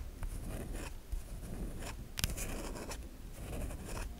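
Long nails scrape grooves into a solid white bar of soap held in the hand, with shavings falling away. The sound is a series of dry, raspy scratching strokes with bright, crisp bursts over a soft low rumble.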